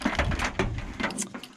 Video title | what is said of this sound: Massey Ferguson 1140 and a homemade winch | when you shake this thing around, it makes this loud, you know, rattling sound